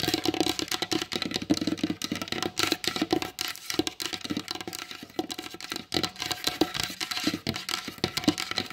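Long blue acrylic nails tap fast on the glossy varnished top of a large solid wooden table. The result is a dense, continuous patter of sharp, bright clicks over a hollow low-mid knock, each tap dying away almost instantly.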